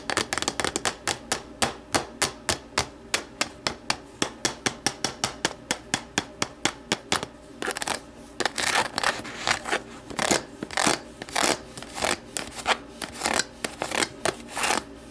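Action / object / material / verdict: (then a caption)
tap / plastic deli container / plastic / none. Long nails tap and scratch the side of an empty, hollow, translucent plastic deli container resting upside down on a table. Quick, crisp, bright clicks come in a steady stream, with raspy scratching mixed in around the middle. Each tap has a thin, hollow plastic ring that dies away almost at once.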